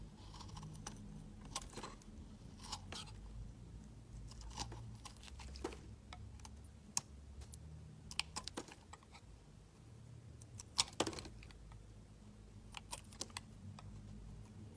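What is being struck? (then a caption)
Bar of soap scraped with a knife blade. A solid blue bar soap held in the hand is scraped with a utility knife blade, peeling off curls of shavings. Quiet, crisp scraping and crunching strokes with bright, sharp clicks repeat throughout over a steady low hum.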